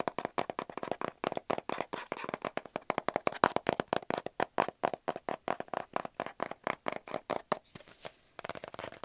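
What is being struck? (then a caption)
Kraft cardboard mailing tube. Fingernails rapidly tap and scratch along the outside of a hollow kraft cardboard mailing tube about 25 cm long. Around fifty quick, dry, hollow taps centered near 1 kHz run in a steady stream, with almost no ring after each one. Near the end they give way to a brief, brighter scratching rasp before the tapping resumes.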